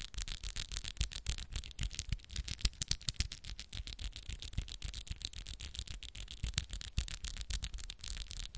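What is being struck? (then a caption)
Acrylic press-on nails. Long pink acrylic press-on nails with black moon art, on interlaced fingers, tap and scratch against each other quickly. The result is a rapid, uneven stream of sharp clicks with a bright, scratchy hiss and soft low thumps underneath.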